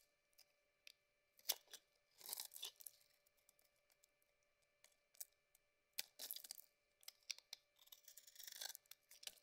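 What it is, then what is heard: Bar soap being carved. A cream bar of soap with a rose-gold coating, held in the hand, is cut and scraped with a metal blade. Quiet, bright scraping and crisp tearing strokes come in short bursts, mixed with sharp little ticks and a faint steady hum underneath.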